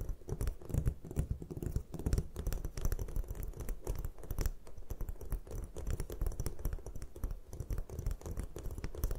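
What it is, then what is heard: Gym chalk block. Long fingernail tips tap rapidly on the top of a solid white gym chalk block resting on a table. The result is a steady stream of quick, dull, muffled taps with low, soft thuds and very little brightness, each one dying away almost at once.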